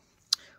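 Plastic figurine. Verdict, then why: Hollow. A single tap on a Chainsaw Man Luminasta prize figurine made of plastic gives one short, bright click with almost no low end and only a faint trailing tail. The figurine sounds hollow, like a box.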